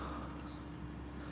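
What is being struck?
Nothing is struck.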